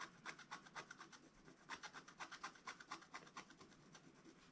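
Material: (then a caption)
Coated paper. A wooden stylus scratches the dog's body on a flat, black-coated, wax-coated scratch-art paper page. The strokes come as repeated short, dry rasps at about two per second, with a bright scratchy texture centered around 1 kHz and little low end.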